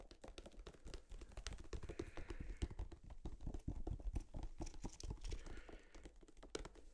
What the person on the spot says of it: never really thought about the material that tubes of toothpaste are made of but like this thick plastic it's kind of unique